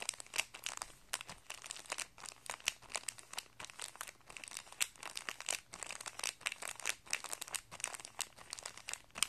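A small, flat, clear plastic guitar string packet, holding a printed paper card and coiled metal guitar strings, lies on carpet while a flat hand and fingertips rub and press it. The result is continuous dense, bright crinkling, made of many short crackles that come in uneven bursts.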